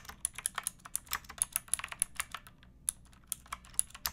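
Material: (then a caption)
Plastic. Fingertips with long nails type on a pink backlit mechanical keyboard with plastic keycaps resting on a wooden block. About two dozen sharp, bright clicks and clacks come in an uneven rhythm, with a brief pause midway. Each keystroke dies away almost instantly.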